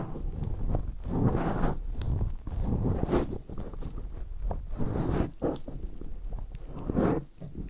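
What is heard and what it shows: Latex-gloved fingertips rub and scratch on both sides of a black round foam windscreen on a recorder. The result is a close, muffled, bass-heavy rustling and scraping that swells and fades in uneven waves, with occasional brighter scratchy bursts.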